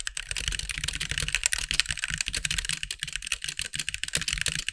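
Fingertips of both hands type quickly on a compact backlit mechanical keyboard with white plastic keycaps. The result is a dense, steady stream of short, bright clacks with very little ring, each carrying a soft low thump underneath.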